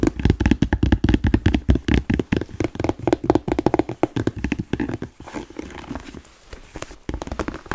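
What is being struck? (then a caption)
Leather Chelsea boot. Fingertips and nails tap and scratch the upper of a smooth, hollow, empty black leather Chelsea boot. For the first five seconds, quick, uneven, dull knocks come fast, low and short, with a faint hollow thump. After that the tapping softens into quieter, airy scratching before a few taps return at the end.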